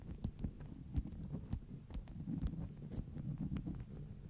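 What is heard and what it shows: Long nails tap and scratch across the top sheets of a stack of flat beeswax-coated cotton wraps. Soft, dull taps land over a steady low, muffled rustle, with faint brief bright ticks on some of the taps.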